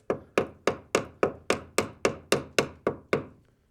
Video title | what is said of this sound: Will I Find More Rust? - 60's Barn Find | tap with it so you can hear i mean that's really really solid